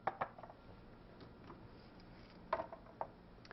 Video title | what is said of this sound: Overview of Drying | berries should be dried until they rattle when shaken